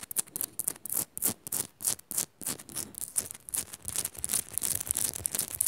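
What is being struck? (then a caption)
Rock-salt lamp. Long nails quickly scratch and tap the surface of a solid pink Himalayan rock-salt lamp. The result is a run of rapid, bright, dry scraping bursts with short ticking taps, uneven in rhythm and with no ring after each stroke.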